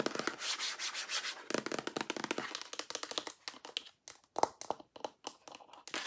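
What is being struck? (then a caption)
Plastic lotion pump bottle. Long nails tap and rub along the sides and pump of a large, hollow white plastic lotion pump bottle as it is held and tilted. The first half is a dense, hissy scratching and rubbing; after that come quick, sharp, dry clicks with short gaps between them.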